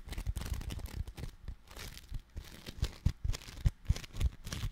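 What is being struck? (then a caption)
Foam clay of tiny polystyrene beads in putty. A palm-sized slab of soft, solid orange foam clay, made of tiny polystyrene beads in putty, is held in both hands in front of the microphone and squeezed and kneaded with the fingertips. This produces dense, irregular crinkly crackling and squishing pops with soft low thumps, each burst dying away almost at once.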